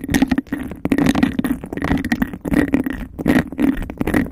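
Fingernails rapidly tap and scratch across a clear, textured glass cup held over a microphone. The cup gives a hollow, boomy resonance centered around 270 Hz, with a steady upper tone near 2 kHz. Quick clicks and rough scraping blend into a dense, continuous texture.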